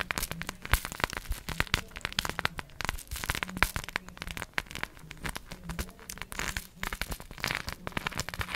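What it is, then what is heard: Cork coaster covered with plastic googly eyes. A round, palm-sized solid cork coaster densely covered with small plastic googly eyes is held in one hand and tapped and scratched with long acrylic nails. Rapid, dense clicks and rattly scratches crackle throughout, bright and dry with a faint low hum underneath.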